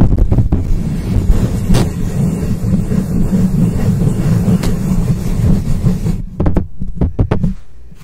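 Long acrylic nails on both hands grip and scratch the hollow metal mesh head of a black microphone. The result is a dense, boomy scratching rumble concentrated in the low end, broken by sharp clicks. Toward the end it thins into a few separate taps before fading.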